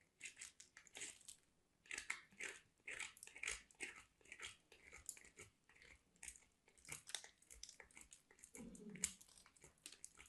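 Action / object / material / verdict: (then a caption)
scrape / soap bar on a metal box grater / soap / none. A small piece of white solid soap is grated on a handheld stainless steel box grater in repeated scraping strokes. Each stroke gives a short, bright, crunchy rasp with little low end, separated by brief quiet gaps, and the shavings scrape off steadily throughout.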